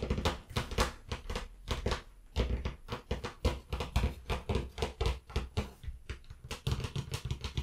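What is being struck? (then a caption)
Cloth-covered hardcover book. Long nails of both hands tap on the cover of a closed, blue cloth-covered hardcover book lying flat, which sounds solid. A rapid, irregular run of about thirty taps gives short, dull thuds with a low body and little ring.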